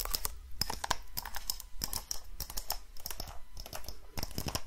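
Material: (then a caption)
Wood. A small, hollow, dark brown wooden box, held in both hands close to the mic, is tapped and scratched with long nails and fingertips. Quick, irregular, dry clicks and bright scratches overlap, each dying away almost at once over a faint low rumble.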